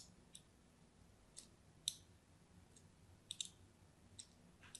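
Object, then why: Bar of soap. A solid orange-and-white striped bar of soap held in the hand is scored in lines with a small metal craft knife blade. About seven light, bright scratching clicks sound at uneven intervals over a faint low hum.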